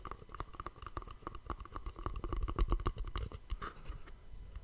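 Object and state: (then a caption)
Cardboard gift box. Fingertips and short nails quickly tap and scratch across a small, hollow white cardboard gift box wrapped with dark elastic cord and a bow, held in a hand in front of the mic. The taps come in a rapid, uneven patter of dull, low, hollow knocks with a faint mid-range tone, each dying away almost instantly, mixed with soft scratching.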